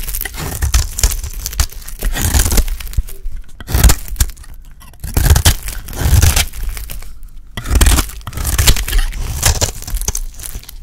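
A solid, hand-sized rectangular bar of dry yellow soap, held in one hand, is scraped and shaved with a small utility blade as the shavings pile up. The clip is a run of dry, crunchy scraping strokes with crisp, high crackle over a heavy low thump, in repeated bursts separated by brief quieter pauses.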